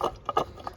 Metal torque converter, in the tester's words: you can shake it back and forth, hear the noise. That's that back piece sliding around. That does not have a bush in it.